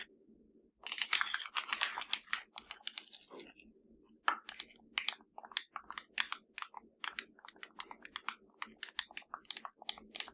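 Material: Plastic.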